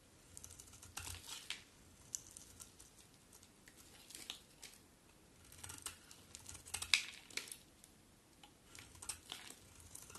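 A solid white bar of soap with black-coated edges, held in the hand, is carved with a utility knife blade. Quiet, bright, crisp scraping and crunching bursts come in irregular strokes, with brief pauses between them.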